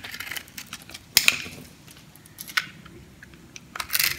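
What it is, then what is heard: Dry soap bar. A metal blade scrapes and cuts crunchy cubes and chunks off the surface of a yellow, solid, dry soap bar held in the hand. Bright, dry crunches and short crackling scrapes come in bursts over a faint background, with the loudest cuts near the start, the middle and the end. Each crunch dies away almost instantly.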